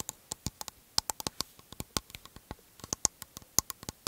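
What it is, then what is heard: Aluminium aerosol can. An aluminium aerosol can with a plastic cap is held in the hands and tapped with fingertips and nails on its metal body. About twenty quick, dry, clicky taps come in an irregular patter, bright and thin with almost no low end. A few taps carry a brief high metallic ping that dies away almost instantly.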